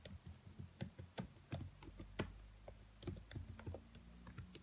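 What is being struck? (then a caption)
Plastic laptop keyboard keys. Long white nails tap and type on black plastic laptop keys, with the hand held close. About sixteen quick, dry clicks land at an uneven typing pace, each with a soft low thud and a bright tick that dies away almost at once. A faint steady low hum runs underneath.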